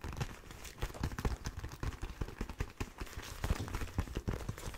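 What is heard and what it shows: Fingertips and nails tap and scratch the hard knuckle armour and leather of one empty black leather motorcycle glove. The result is a dense run of short, dull, low-pitched taps with soft crinkling scratches in between, and brief brighter clicks on some strikes.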